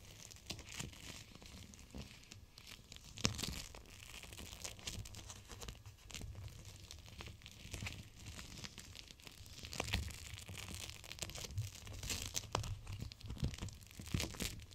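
A small clear plastic gel-bead cold pack with printed icons, filled with teal gel beads, rests on an open palm and is squeezed and pressed so the beads shift. The plastic gives a steady, bright crinkling and crackling over soft low rumbling, with a few sharper crunchy pops standing out.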